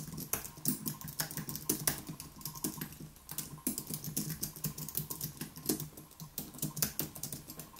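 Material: Plastic.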